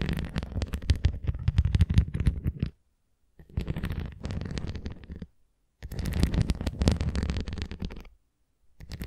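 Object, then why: Plastic flying ring toy with nubs. Long nails scratch along the rim edge of a red translucent plastic flying ring toy with nubs, held edge-on. The result is a dense, low, rumbling scrape made of rapid little ticks, heard in three bursts of about two seconds each separated by short silences, with a fourth beginning at the very end.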